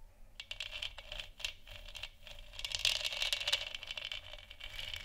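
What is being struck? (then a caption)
Textured plastic moon lamp sphere. Long nails tap and scratch the sides of a large, hollow, textured plastic moon lamp sphere. The result is a quiet, irregular stream of bright, dry clicks with scratchy rattling textures in between, centered around 2.9 kHz. Each tap dies away almost at once, and the sound has little low end.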